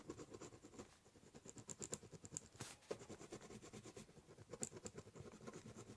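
A ballpoint pen scribbles and cross-hatches on the top surface of a large, hollow, brown corrugated cardboard box. Quick, rhythmic scratching strokes carry a bright, papery hiss over a soft, hollow, low-mid body from the box. The sound stays quiet throughout, with a few sharper scratches standing out.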